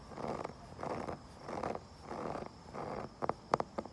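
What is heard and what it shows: A wooden surface is scratched and tapped outdoors. Five soft, rasping scratch strokes come one after another. They are followed by a few sharp, quick wooden taps near the end.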